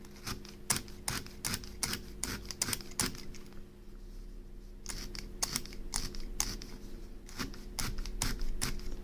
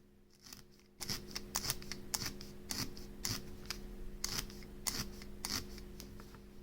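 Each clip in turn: First: firmly compacted needle-felted wool. Second: loosely felted wool.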